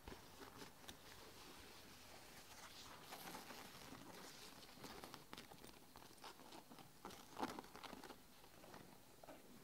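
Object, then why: Nylon fabric backpack. Long nails and fingertips tap and scratch the front panel and mesh strips of a closed red and grey nylon fabric backpack. It makes a soft, steady patter of quick, bright, crinkly taps and scrapes, with one sharper tap standing out near the end.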